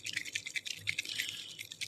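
A bottle of metallic gold or copper alcohol ink is shaken to mix it, and the mixing ball inside rattles in a rapid run of bright, dry clicks centred around 2.2 kHz. The clear rattling shows the ball is moving freely to mix the ink rather than being stuck up in the top.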